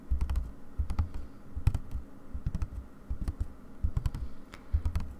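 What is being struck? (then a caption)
Wooden embroidery hoop with stretched fabric. Long dark nails tap rapidly on white aida fabric stretched in a wooden embroidery hoop resting on a table. The drum-like surface gives quick, dull, low thumps in an uneven rhythm, each dying away almost instantly, with faint crisp clicks on top.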